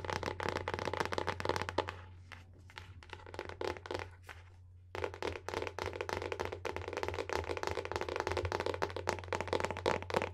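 Long painted nails rapidly tap and scratch the printed paper-covered board front cover of a solid hardcover book, making dense, dry, crackly clicks and scrapes with a steady low hum underneath. The tapping thins to softer, sparser scratches for a few seconds in the middle, then returns to quick, busy tapping until the end.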